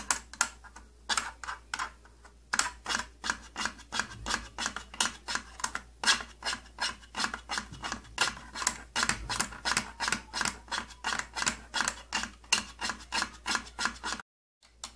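Fingertips and nails scratch the thin side panel of an opened purple plastic tattoo kit case, making dozens of quick, bright rasping strokes at roughly three per second. Each stroke is dry and short with almost no ring, and the scratching breaks off into a brief silence near the end before resuming.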